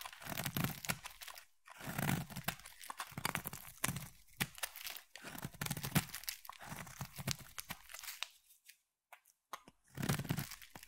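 A metal utility knife blade scrapes and cuts into a solid purple bar of soap, shaving off thin curls. Dry, crunchy tearing scrapes come in repeated bursts with a low body and bright edges. The bursts are broken by short quiet pauses, with a longer gap near the end before one final burst.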